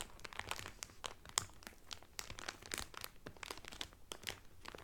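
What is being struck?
Cotton towel in a thin cellophane wrapper.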